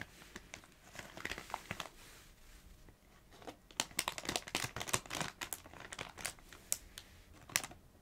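Long nails tap, scratch and crinkle a small red Doritos foil-plastic snack bag full of chips. Sharp, bright crinkles and ticks come unevenly: sparse and soft in the first three seconds, then denser and louder to the end.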